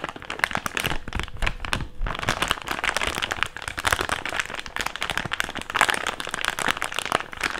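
An empty, hand-sized thick clear plastic bag is opened, folded and crinkled with fingertips. It makes a steady stream of dense, sharp crackles and crinkles with a bright, papery edge, and each snap dies away almost at once.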